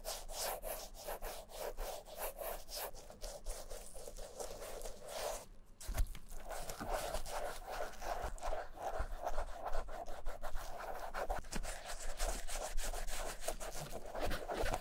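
Gloved fingertips rub cream over the vamp and toe of a vintage Camper black leather shoe, which is hollow and empty and held in the hand. Soft, steady rubbing strokes repeat with a dull, muffled texture, pause briefly around the middle, then resume slightly louder.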